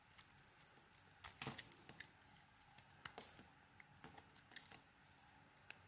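A metal blade scrapes and shaves the surface layer off a solid green and orange soap bar held in the hand. The result is a run of quiet, dry, crackly scraping ticks with bright high-frequency content. A louder cluster of shavings comes near 1.4 seconds and another around 3.2 seconds.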